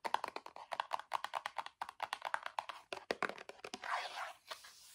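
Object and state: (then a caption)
Cardboard cosmetic box. Fingertips and nails tap rapidly on the front and sides of a small gold printed cardboard BB face cream box held upright, making about thirty quick, dry, hollow taps with a papery midrange knock. Near the end, the tapping gives way to a softer, bright scratching rustle across the cardboard before it fades.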